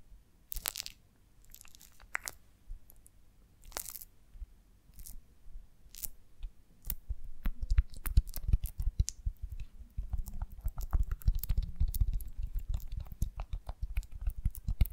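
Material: Beeswax.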